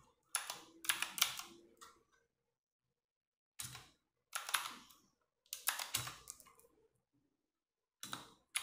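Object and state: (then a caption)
Plastic mechanical keyboard. Fast typing with fingertips and long nails on a compact 60% RGB-backlit mechanical keyboard with plastic keycaps. Bright, quick clacks come in short bursts separated by brief silences, each keystroke dying away almost at once, with very little low end.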